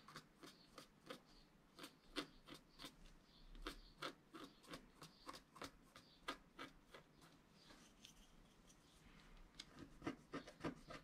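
A wooden stylus scratches the lower right of a flat scratch-art card of black wax-coated paper while the other hand steadies the sheet. Quick, irregular, dry strokes rasp and tick, each short and bright with almost no ring. The strokes thin out into softer rubbing in the middle before picking up again in a denser burst at the end.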